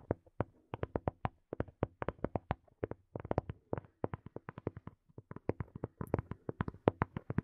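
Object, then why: Small plastic earphone case. Fingernails tap rapidly on a small, hollow black plastic earphone case held close to the mic. The result is dozens of short, dry, hollow clicks in irregular bursts with brief pauses. Each tap stops almost instantly, with no ringing.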